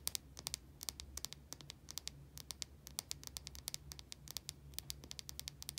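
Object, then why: Soap bar tapped with fingernails. Long nails scratch and tap the surface of a small white solid bar of soap held in the hand. Quick, dry, high-pitched clicks and brief scratches come in an uneven stream over a faint low hum, each one stopping almost instantly.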